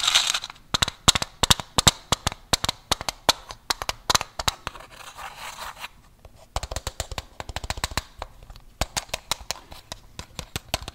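A small, closed, white rectangular Velamints mint tin, likely metal, is tapped and scratched with fingertips and nails. Quick, bright clicks with almost no ring come in fast runs, broken by short stretches of dry, hissy scratching.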